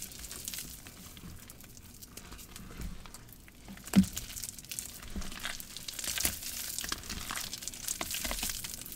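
Both hands squeeze and crush the partly clumpy green paste of damp cornstarch and gym chalk in a large plastic bowl. The result is a steady, soft crinkling and crumbling texture with bright, hissy detail, and one sharper crunch stands out near the middle.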